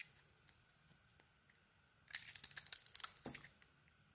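A hand-held solid soap bar with a black textured coating and an orange core is carved with a metal blade, which peels off the coating and cuts crumbly orange curls. After about two seconds of near silence with a faint low hum, a burst of bright, crisp scraping and crackling runs for just over a second, then fades back to quiet.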